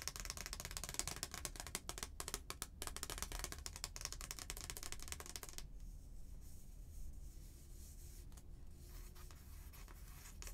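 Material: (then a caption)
Paper. Long painted nails scratch and rub the front of a thin, flat, stiff paper "Merry Christmas" greeting card, making a dense, bright, crackly scratching for the first half. After that it drops to a softer, quieter rubbing over a steady low rumble.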